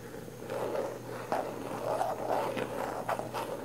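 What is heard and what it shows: Long nails scratch the lid and sides of a round, likely full, plastic Bath & Body Works body butter jar with a pink printed lid. The result is a steady, dry scraping rasp centred in the mid range, broken by a few sharper, brighter strokes. A faint constant low hum sits underneath.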